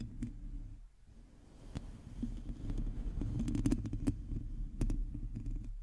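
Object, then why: Domed metal mesh microphone grille. Long teal fingernails of both hands scratch a hollow, domed metal mesh microphone grille, giving a dense, low rumbling scrape. Sharp, bright ticks flick through it where the nails catch the mesh. The scratching dips briefly near the start before building again.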